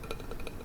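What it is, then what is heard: Tapped wooden object. A wooden object is tapped in quick succession, giving soft, hollow, short knocks with a mid pitch and a low, dull body. The taps ring only briefly and do not sound like a hammer.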